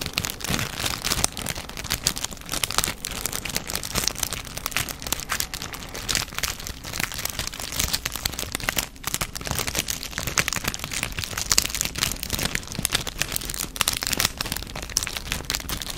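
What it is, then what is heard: Foil wrapper packet. A small silver foil packet is crumpled and rubbed with the fingertips in front of a microphone. The result is a dense, steady crinkling with sharp, bright crackles and little low end, running without a break for the full sixteen seconds.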